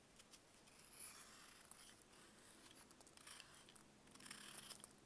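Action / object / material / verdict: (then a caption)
scrape / block of dried baking soda / baking soda / none. A solid block of dried baking soda, held in bare hands, is cut and carved with a box-cutter blade. Soft, dry scraping and gritty crunching come in short bursts over a faint continuous hiss, bright and airy with little low end. The clip stays quiet throughout, with scratchier passages near the start and end.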